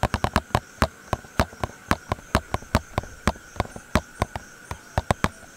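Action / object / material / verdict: tap / small cardboard box / cardboard / none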